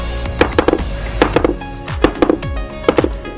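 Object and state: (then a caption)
Hollow terrace floor tile. A hammer taps old terrace floor tiles laid on a concrete slab in four quick bursts, about 15 strikes in all, each giving a short, hollow knock pitched around 490 Hz that dies away almost at once. The spot is hollow, and this sound shows whether the floor must be broken out or can be treated on top.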